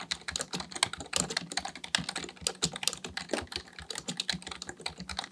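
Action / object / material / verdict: tap / plastic computer keyboard / plastic / none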